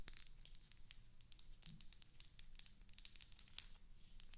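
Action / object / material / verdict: tap / wax bubble candle tapped and scratched with fingernails / wax / none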